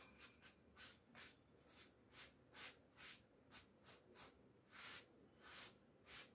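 A wooden-backed bristle clothes brush is rubbed in quick strokes down the front of a navy cotton twill coat hanging on a door, held at the collar by one hand. Each stroke makes a soft, bright, hissy scrape over a low fabric rustle, repeating in a steady rhythm.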